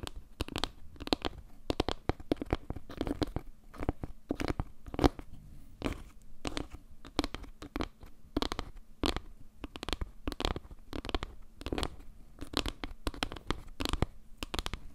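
Long gray nails scratch and tap the faces of a solid round board made of glued birch-like wood slices with a dark tiled center, held close in front of the mic. The result is a quick, dense run of short, dry clicks and scrapes with almost no ring, sitting over a faint steady low hum.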